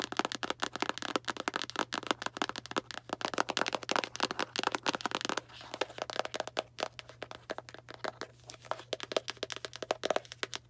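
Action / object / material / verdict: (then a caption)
tap / small cardboard box / cardboard / none. A small Arm & Hammer cardboard baking soda box is tapped and scratched with long black nails, giving a dense run of quick, dry, crackling taps and papery scratches with a bright edge. The clicks come rapid-fire and aggressive, ease into a softer scratchy patch around the middle, then pick back up, with a faint steady low hum underneath throughout.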